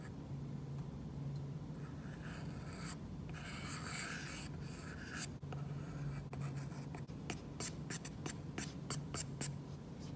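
An Apple Pencil tip is rubbed in long strokes across a flat iPad screen covered with a matte plastic screen protector, and a fingertip also touches the surface. The result is a soft, steady scratchy drawing sound with bright hiss in the strokes, followed near the end by a run of quick, sharp light taps over a low background hum.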